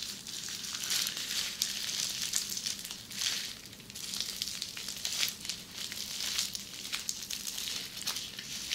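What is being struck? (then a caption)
Plastic bubble wrap. Long red-painted nails scratch across flat red plastic bubble wrap with small air bubbles, close up. The result is a continuous bright, crinkly crackle of rapid scratches that swells and eases in waves over about nine seconds, with almost no low end.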